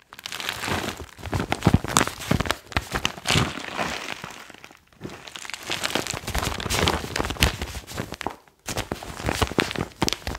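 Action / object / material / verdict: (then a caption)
scrape / foil-lined plastic chalk bag / plastic foil / none. A foil-lined plastic magnesium chalk pouch is held up and waved beside the mic, then crinkled with the fingers. Dense, bright crinkling and crackling runs in bursts with a low rustle underneath. It breaks off briefly just before the 5-second mark and again around 8.5 seconds, then resumes.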